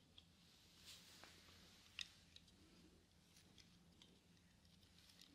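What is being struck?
Plastic eyeglasses frame and hinges.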